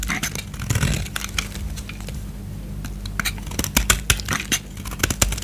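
A solid white bar of soap with remaining gold paint, held in the hand, is scraped with a utility knife blade. Dry, crackly scraping and sharp bright clicks come in quick bursts, growing more distinct in the second half over a low, steady hum. Each scrape is short and stops abruptly, with almost no ring.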